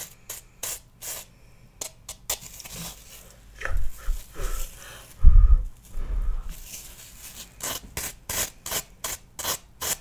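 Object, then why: Floral foam block. A small, solid pale green floral foam piece is held in the hand while a knife blade rubs and scrapes across its surface. The scratching comes as a run of short, dry, bright rasps with breathy texture, and a few duller, lower bursts in the middle. The scrapes stop quickly with no ring.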